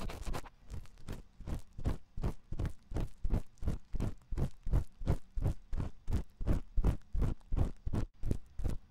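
A thin metal ear pick scratches inside the ear canal of a white silicone ear on a 3Dio binaural microphone. It makes a steady, rhythmic series of short, muffled scratching strokes, about three per second, that sound deep and boomy with little brightness.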